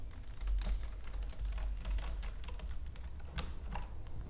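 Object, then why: Plastic computer keyboard. Fingertips and long nails type and tap on the keys of a white plastic computer keyboard. Quick, dry plastic clicks come in a dense run over a steady low rumble, each tap dying out almost at once.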